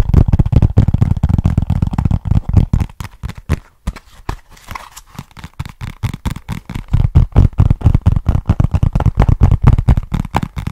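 Fingertips and nails tap and scratch the surface of a small, flat, hollow brown cardboard box held in both hands close to the mic. Quick, irregular, dull taps carry a deep hollow thump with almost no ring. They thin out into softer, scratchier touches for a few seconds in the middle before the rapid drumming returns.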